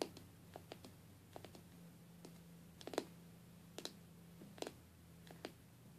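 Long, dark-painted nails tap and scratch the side glass panel of a stained glass box. About fourteen quiet, sharp, bright clicks land at irregular intervals, some in quick pairs, over a faint scratching and a steady low hum.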